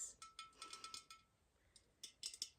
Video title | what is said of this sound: 🎄ASMR roleplay personal shopper - Tapping, gentle tingly triggers in cosy Christmas shop 🎄 | a beautiful ceramic gingerbread house.